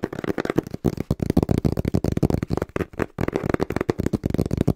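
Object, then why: Small cardboard box. Fingertips tap quickly and rhythmically on the printed face of a small, hollow brown cardboard box held upright in both hands. The result is a rapid stream of short, dull, hollow thuds with a low body around 340 Hz. There is almost no ring, and a brief pause comes just after three seconds.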